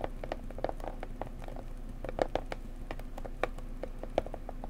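Fingertips and nails tap gently on a small blue floral cardboard mug box held with hands at its sides. The soft, dry taps come in an uneven, rapid patter, each with a short hollow midrange knock that dies away almost instantly, over a steady low hum.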